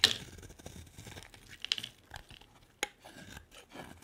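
A solid purple bar of soap held in the hand is scraped with a utility-knife blade into shavings. The result is a quiet, bright rasping and scratching. Sharp scrape accents stand out near the start, around 1.7 seconds and at about 2.8 seconds, with soft crumbly scraping in between.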